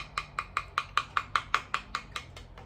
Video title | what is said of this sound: Precision Guitar Kits LP Kit Demo | you hear that little hollow sound